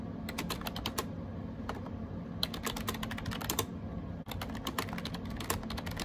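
Fingertips type rapidly on a gray AJAZZ 308i wireless Bluetooth keyboard with round plastic keycaps. The result is bursts of crisp, bright plastic clicks with short pauses between them. A steady low hum sits underneath throughout.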